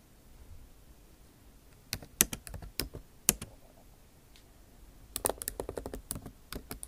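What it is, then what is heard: Laptop keyboard with plastic keys. Long nail tips type on a backlit MacBook Pro keyboard with plastic keycaps set in an aluminum body. After a quiet start, two bursts of sharp, bright clicks are heard, separated by a brief pause, each click dying away almost instantly.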